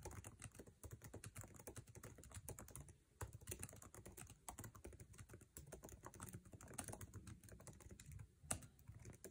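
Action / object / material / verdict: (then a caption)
tap / laptop keyboard, plastic keycaps in aluminum body / plastic / none. Fingertips tap fast on the plastic keycaps of a MacBook Air keyboard set in an aluminum chassis. The result is a dense, rapid stream of short, dry clicks with a thuddy low end. A few brief pauses break the flow, and one sharper, louder key strike lands near the end.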